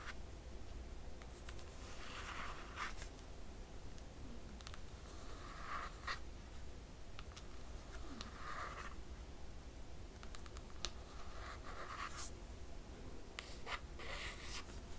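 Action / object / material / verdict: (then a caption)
scrape / hardcover book with laminated cardboard cover / laminated cardboard / none. Long nails on both hands scratch across the surface of a closed hardcover book with a laminated cardboard cover. Quiet, uneven bursts of dry, brushy scraping come and go over a steady low hum, with short bright ticks scattered between them.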